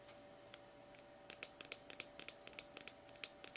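A small cylindrical plastic Orb Slimy Horror slime tub with a paper/plastic label, sealed and full of slime, is held in both hands and tapped and scratched with medium-length painted fingernails. About fourteen quiet, sharp, bright clicks and ticks come in an irregular run, each dying away almost instantly over a faint steady hum.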